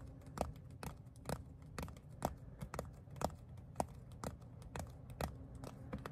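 A flat, palm-sized black pebbled leather phone case is tapped and scratched with fingertips and nails. Quiet, short, dull taps land roughly once a second over a low rustling scratch. Each tap dies away almost instantly.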